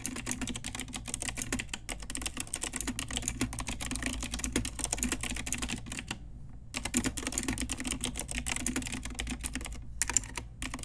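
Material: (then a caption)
Plastic. Rapid typing with fingertips and long nails on a pink Ajazz typewriter-style retro mechanical keyboard with round plastic keycaps. Dense, bright, sharp clicks and clacks run continuously, with a steady low hum beneath. The typing stops briefly just past the six-second mark and again near ten seconds.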